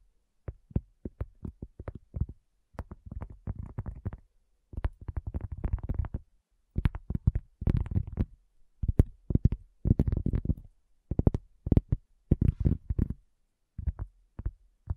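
Long fingernails and fingertips tap a solid, round, flat cork coaster, giving dull, low thuds. The taps come in quick, irregular bursts separated by short pauses, with no ring after each thud.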